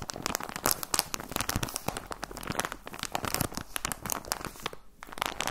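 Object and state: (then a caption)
Plastic sock package. A clear plastic bag holding folded white socks, with a cardboard header, is crinkled and squeezed with the fingertips. Dense, bright crinkling and crackling snaps follow one another rapidly, with a short quieter pause near the end before the crinkling picks up again.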